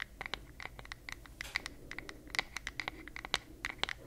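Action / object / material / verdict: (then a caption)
tap / wooden paddle hairbrush back / wood / none. Long nails tap and scratch the flat, solid wooden back of a paddle hairbrush with a floral print. They make a quick, uneven run of about two dozen sharp, bright clicks over a soft scratchy hiss. Each tap is dry and dies away at once.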